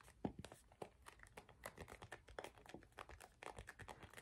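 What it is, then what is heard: Empty plastic squeeze tube. Fingertips and nails tap and scratch the surface of an empty, hollow gold plastic face-wash tube held upright. The result is a quiet, steady run of short, dry clicks with crinkly scratching between them, each tap dying out almost instantly.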